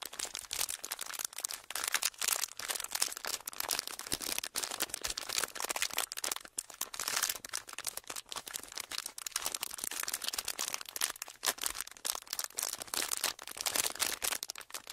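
Small clear ridged plastic packaging is held in both hands and squeezed and crinkled with the fingers. It makes a dense, continuous stream of bright, sharp crackles with almost no low end. The crackles are quick and dry, with no ring after each snap.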